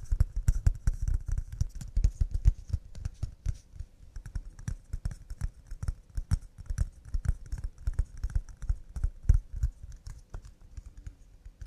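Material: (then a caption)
Pine wood. Cups made of pine wood are tapped fast and delicately, producing a rapid, uneven stream of soft, dull wooden clicks. Each tap is short and dry, with very little ring.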